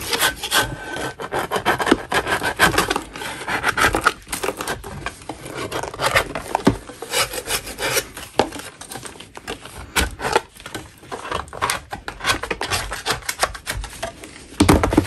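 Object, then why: Natural chalk block scraped with a metal blade. A metal putty knife scrapes a solid lump of natural chalk, shaving off crumbly powder in a continuous run of dense, gritty strokes. The scraping is rough and broadband with a bright, hissy edge and a few louder bursts, including one near the end.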